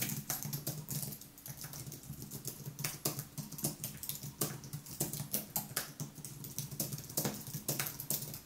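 Fingertips type continuously on the white plastic keys of a thin aluminium wireless keyboard. A rapid, uneven patter of short, bright clicks rises over a steady low hum. The clicks die away quickly between strokes.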